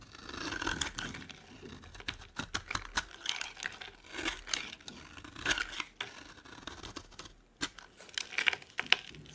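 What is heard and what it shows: A solid, dry, bright green oval bar of soap is held in both hands while a metal blade scrapes and carves thin curls off its surface. The result is a run of crisp, bright scraping and crackling strokes with short pauses between them, mostly high-pitched with very little low end.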